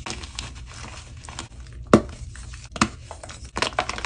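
Fingers with painted nails squeeze and crumble small solid pieces from one soft square block of white magnesium carbonate gym chalk, resting among several other blocks on powdery chalk, crushing it by hand rather than tapping. A dry, bright, gritty crackling runs steadily throughout, with two sharper crunching snaps standing out midway before a final burst of crumbling.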